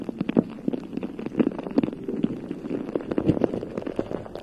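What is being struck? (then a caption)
Metal mesh microphone grille. Long nails scratch and tap the bare, hollow round metal mesh head of a rhinestone-covered USB microphone cupped in both hands. The result is a dense run of quick, dry clicks and raspy scrapes with short, hollow mid-range thumps around 230 Hz and almost no bright top end. Each tap dies away almost instantly.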